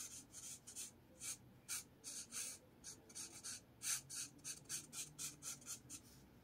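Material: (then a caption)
Paper. A blue marker rubs and scratches repeated strokes across a lined paper spiral notepad. Seventeen short, bright, hissy scratching bursts come one after another with quiet gaps between them, and each stroke stops dry with almost no ring.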